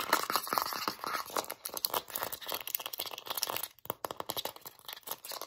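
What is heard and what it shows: Long nails scratch and rub rapidly over the label, the bottom and the lid edge of a full plastic Vaseline jar with a blue lid. The result is a dense run of dry, crinkly scratching bursts, bright with almost no low end, that breaks off briefly near the end before starting again.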